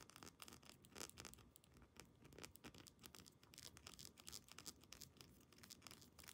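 Long painted nails rapidly tap and scratch a small amber glass essential oil dropper bottle with a black plastic cap and a paper label. The result is a quiet, dense run of bright, dry clicks and scratchy rasps with almost no ring.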